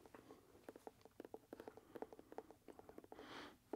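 A hollow, empty dark brown leather dress shoe is held in the hand and tapped with the fingertips on its leather upper. It makes a quick, uneven run of about twenty soft, dull taps with a hollow mid-range knock and almost no ring. A brief soft hiss rises near the end before one last tap.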